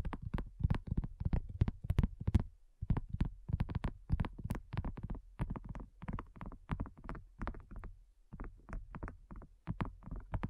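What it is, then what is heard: Silicone coaster. A flat, solid, pink textured heart-shaped silicone coaster is tapped and scratched with the fingernails and fingertips of both hands, the fingers moving over its surface. Dense, uneven runs of soft, dull, low thuds come in quick clusters with faint brief scratchy clicks, each tap dying away almost instantly with no ring.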